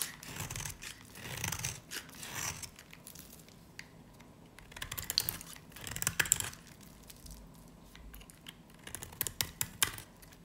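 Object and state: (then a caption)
Dry varnished soap bar. A dry, varnished, solid yellow-green soap bar held in the hand is carved with a snap-off knife blade. Brittle scraping and crisp, bright crackling cuts come in bursts with short quiet pauses. A few sharp, high snaps stand out near the middle and the end.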